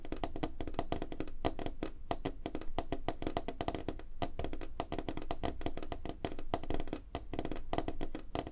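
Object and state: Wooden tabletop.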